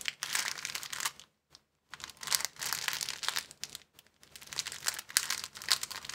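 A clear plastic bag rolled into a tube is squeezed and twisted in both hands, giving dense, bright crinkling with almost no low end. The crackling comes in three bursts separated by brief silences.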